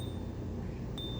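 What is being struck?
Silver coin.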